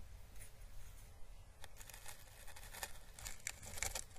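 A small, hollow, papery orange dried Chinese lantern husk (a papery plant calyx), held by its stem, is brushed with paintbrush bristles. Soft, dry crackles and rustles flicker across the bright high range, with sharper crisp snaps toward the end over a steady low rumble. The sound stays quiet and close.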